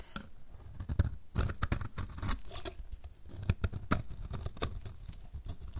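A utility knife blade shaves a dry, solid blue-and-white marbled soap bar, sending flakes falling onto the table. Quick, crisp scraping strokes and sharp little crackles come in a steady run, each stopping short with no ring over a soft low rumble.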